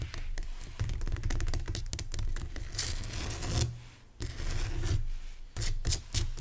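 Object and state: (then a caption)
Rock salt lamp. Fingernails quickly tap and scratch the sides of a lit rock salt lamp, a solid crystal, in a dark room. Rapid dry clicks mix with scratchy rasping, with a brief quieter pause near the middle before the tapping resumes.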